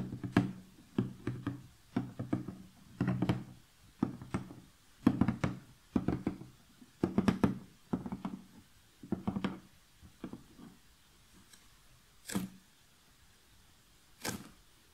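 The lid of a large, closed 1000-piece Clementoni cardboard jigsaw puzzle box, hollow and filled with pieces and lying flat on a table, is tapped with long painted fingernails and fingertips. Irregular clusters of quick, dull, hollow knocks with a low, boxy body decay almost instantly. Near the end come a few sharper, brighter nail clicks, separated by quiet gaps.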